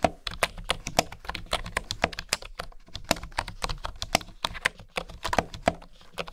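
Fingertips and nails type on a bamboo wooden keyboard, heard up close. A fast, uneven run of short, dry tapping clicks with a woody midrange tone around 680 Hz and bright edges fades almost instantly after each keystroke.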